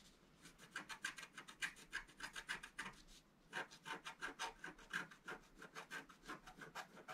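A flat black-coated scratch-art card, held in one hand, is scratched with the tip of a wooden stylus. About 32 quick, short raspy strokes come in an uneven rhythm, with a brief pause near the middle. Each stroke has a dry, scratchy tone centered around 1.6 kHz with bright high hiss and almost no low end.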